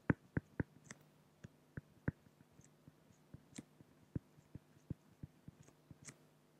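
A pen tip draws small strokes on a flat, solid acrylic (plexiglass) sheet, producing a quiet series of short, dry taps and scratchy ticks with quick decay, some carrying brief bright hiss. A faint steady low hum runs underneath throughout.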